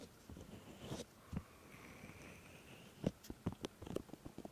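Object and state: Silicone microphone ear being rubbed and touched.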